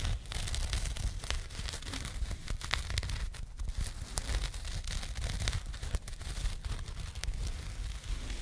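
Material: Jute.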